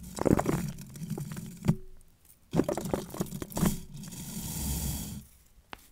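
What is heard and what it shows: Fingertips and long nails are rubbed and strummed through the white and turquoise nylon bristles of a long plastic bottle-cleaning brush on a twisted wire. The result is dense, soft, scratchy crackling and flicking bursts with a low, muffled body. Brief quiet gaps come in the middle and near the end, and a single sharp flick sounds just before it stops.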